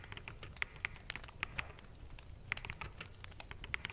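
Fingertips of both hands type on a full-size black mechanical keyboard with plastic keycaps. The result is a quick, irregular run of sharp, bright clicks centred around 2 kHz, each dying away almost instantly. A faint low rumble sits underneath.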